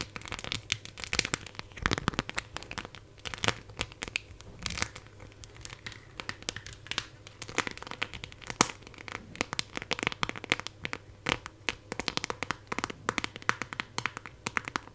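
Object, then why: Clear plastic phone case with raised decorations. Long nails scratch and tap across the back of a phone in a clear plastic case with 3D decorations, held in both hands close to the mic. The result is a dense, irregular stream of sharp, bright clicks and crinkly scratching with almost no ring after each tap.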